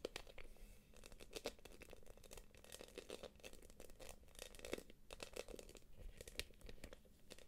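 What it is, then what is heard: Quilted plastic purse. Long acrylic nails tap and scratch the quilted flap of a small light-blue quilted PVC jelly purse. The result is a quiet, steady run of quick, crinkly clicks and scraping rustles, with brighter taps standing out now and then.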